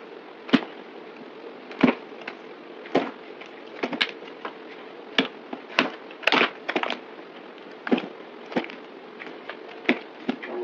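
A yellow utility knife carves and scrapes pieces off a solid green rectangular bar of soap held in the hand. Sharp, crisp, dry cuts and crunchy scrapes come in irregular bursts, each short and bright with almost no ring. A steady soft hum sits underneath between them.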